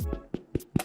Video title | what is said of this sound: French Bread Recipe-Quick & Easy! | you knock on it if you hear that hollow noise and that means it's done